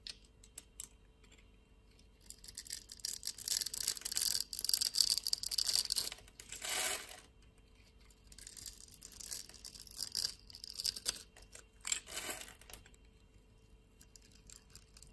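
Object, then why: Bar of soap. A metal utility-knife blade shaves small cubes off a solid blue bar of soap with a grid-scored surface, held in the hand. It makes bright, crisp crackling and scraping in two long passages, each ending in a brief, smoother swipe. Quiet pauses with faint ticks fall between and around them.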